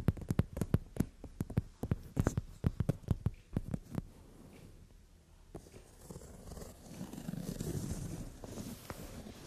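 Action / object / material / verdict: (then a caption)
tap / leather sofa seat / leather / none. Long nails tap rapidly on a brown glossy leather sofa seat, making a run of sharp, dull, low-heavy knocks for about four seconds. After a brief quiet stretch, the nails scratch and a palm rubs across the leather, producing a soft, swelling brushing and rumbling texture.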